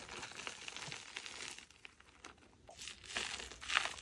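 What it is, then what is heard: Crumbly chalk dome crushed. Hands grip and crush a crumbly dome of packed powdered chalk, breaking off powder and chunks. Dry, bright crunching and crumbling crackles fill the clip, dipping quieter in the middle before louder crunches near the end.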